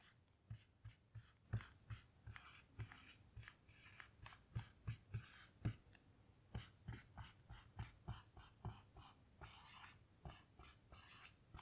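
A blue dry-erase marker writes on a small melamine lap whiteboard with a grid surface, lying flat and starting from an empty board. Quiet, rapid strokes and taps each give a soft low thump with a faint bright squeak and scratch, fading almost instantly. They come in an uneven, steady run throughout.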